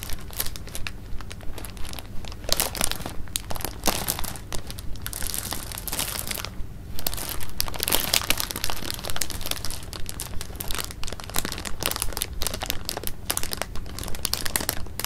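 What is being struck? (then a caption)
Clear plastic bag of jelly beans. A partly full clear plastic bag of jelly beans is held in the hands while the fingers crinkle and shake it. Dense, bright crinkling and rustling comes in quick, uneven bursts over a steady low hum, with the candies shifting and rattling inside the plastic.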